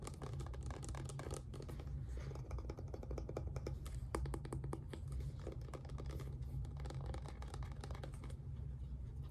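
Fingertips and nails rapidly tap and scratch along the sides of a small, filled-looking white plastic squeeze bottle of acrylic paint with a black cap, held in both hands. The result is a dense run of quick, dry clicks and scrapes over a steady low hum.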